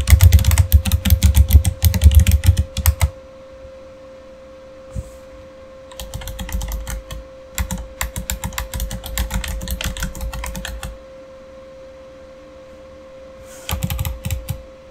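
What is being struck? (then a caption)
Plastic mechanical keyboard. Fingertips type on a backlit Razer mechanical keyboard with plastic keycaps, including keys on the number row. Bursts of rapid, clicky keystrokes with deep thocks underneath come in three stretches separated by quiet pauses, over a steady low hum.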